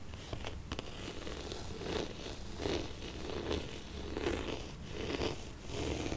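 A hollow, hard-shell red faux leather glasses case, held upright in one hand, is scratched and stroked along its surface with fingertips and medium-length painted nails. Soft, rhythmic scratchy strokes swell and fade at a slow, unevenly paced rate, each carrying a hollow, mid-low resonance over a quiet low rumble, with a few sharp clicks near the start.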